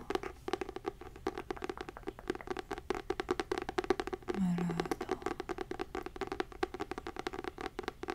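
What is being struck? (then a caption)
Fabric-covered hardcover notebook. Fingernails rapidly tap and scratch a textured, fabric-covered hardcover notebook with a gold label, producing a steady stream of dry, muted clicks with a hollow mid-range tone. The taps stop ringing almost at once, and a brief low hum rises under the tapping about halfway through.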